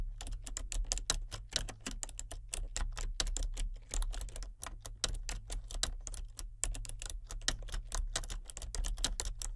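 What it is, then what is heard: Plastic computer keyboard being typed on. Both hands type with fingertips and nails on a full-size plastic computer keyboard with color-changing backlit keys. Rapid, crisp, bright clicks follow one another in a steady, uneven stream over a constant low hum.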